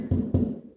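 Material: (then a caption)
Drywall. Knuckle knocks on drywall at the spot where a stair rail bracket mounts, over a wooden stud. Two dull, low thuds land close together and die away quickly with no hollow ring. The solid sound shows the stud is behind that spot.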